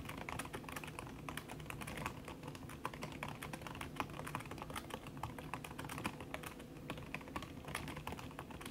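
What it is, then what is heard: Laptop keyboard with silicone cover, fast typing. Fast typing with fingertips and long red nails on a backlit aluminium laptop keyboard with plastic keys under a red silicone skin. A dense, steady stream of soft, muffled clicks and taps with short, dull attacks runs throughout over a low background rumble.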